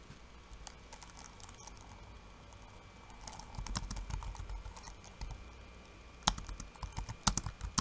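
Fingertips of one hand type fast on a backlit laptop keyboard with plastic keycaps and red lighting. The result is a steady patter of short, dry plastic taps with a low thump under each key and bright clicks on top. The typing grows busier and louder mid-clip, and a few sharper key strikes land near the end.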